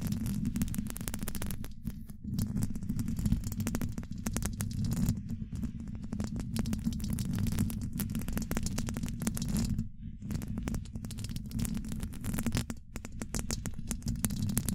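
Long acrylic nails tap and lightly scratch a hollow woven metal microphone mesh grille. The result is a dense, continuous stream of quick, dry taps and scraping clicks over a deep, rumbling low thud, with brief crackly bright edges and short pauses.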